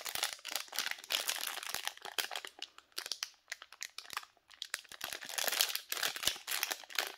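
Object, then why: Soap bar in a plastic wrapper. A small, solid Nivea soap bar, still sealed in its pink printed plastic/paper wrapper, is handled and squeezed by black-gloved fingers. The wrapper gives off a steady run of bright, crisp crinkles and crackles with no low end. The bursts come in quick clusters, with brief quieter gaps between them.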